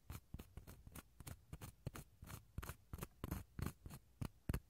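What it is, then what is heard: Dried gourd shell half, scraped inside. The inside of a small, empty, hollow dried gourd half is scraped with a wooden toothpick, giving about 19 short, dry scratching strokes in an uneven rhythm. Each stroke is a brief rasp with a hollow low thump and almost no ring, heard against a quiet background.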